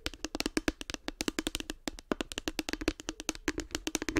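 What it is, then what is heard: Hard plastic case. Long nails rapidly tap the top and front of a light blue, hollow hard plastic case with a cartoon face. About 36 quick, dry clicks sound with a hollow knock around 270 Hz and bright nail ticks above it. Each tap dies almost instantly.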